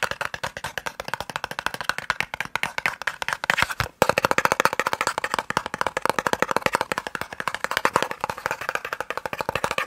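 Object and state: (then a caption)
Small cardboard box. A small, hollow, white and red cardboard eye drops box is tapped rapidly with the nails and fingertips. The result is a steady stream of dry, clicky, hollow taps with no ring and little low end, broken by a brief pause near the four-second mark before the tapping resumes a little louder.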